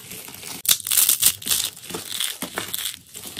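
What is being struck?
Crumbled soap curls and flakes.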